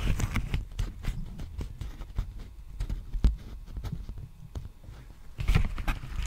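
A large, empty black poly bubble mailer with a bubble texture is held close and tapped and scratched with fingertips and nails. The result is a run of short, dull, low-heavy taps with faint crinkly scratching between them and a brighter burst of scratching near the end.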